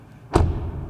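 A car door on an Audi Q4 e-tron is shut once, giving a single deep, low thud with a short, muffled decay. It sounds solid.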